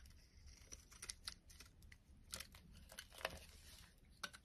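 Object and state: Bar soap being scraped and cut.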